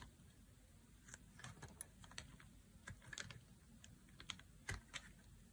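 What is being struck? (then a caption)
Bar of soap cut with a knife. A solid, dry blue oval bar of soap is held in the hand and shaved with a knife blade. Quiet, irregular, crisp clicks and short scrapes, bright and dry with almost no ring, come in loose bursts over a low, steady background rumble.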